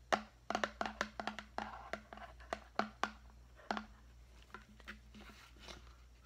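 A large, clear, hollow and empty plastic deli container is held in the hand and tapped with the fingertips, producing seventeen short, hollow taps with a tonal ring around 750 Hz. The taps come quickly at first and grow softer and sparser toward the end, with each tap dying away almost immediately.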